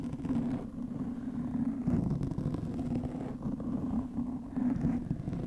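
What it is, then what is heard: Foam microphone windscreen being scratched. Long nails of both hands scratch the top of a black, soft porous foam windscreen over a microphone. The result is a continuous, muffled rumbling scrape with a steady low tone near 240 Hz and almost no bright content, swelling and easing slightly throughout.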